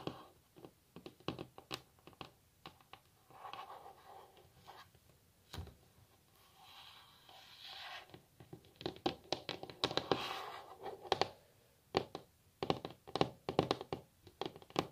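Long natural nails tap on a solid varnished wooden tabletop, making dozens of quick, dry clicks that die away almost at once. Stretches of softer, continuous scratching or rubbing on the surface come between the bursts of tapping.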